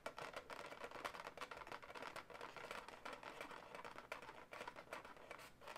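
Long white-tipped natural nails scratch and tap the taut surface of a light pink, hand-sized latex twisting-balloon animal that is inflated, hollow and air-filled. The result is a dense, quiet stream of quick, dry, rubbery scratches and soft taps, centered in the mid-range around 1 kHz with little low end. Each contact dies away almost instantly.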